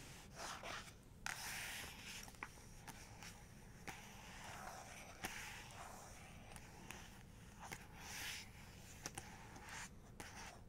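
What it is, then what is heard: Paper book page tapped and traced with nails. Long nails tap and trace across the paper of an open photography book laid flat at a two-page panoramic spread. Soft, airy scraping swells in and out as the nails glide over the page, broken by sharp, brief taps. Everything sits over a quiet, steady low rumble.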